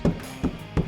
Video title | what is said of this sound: Install Fender Flares & Modified Slide Door | it's not like a drum anymore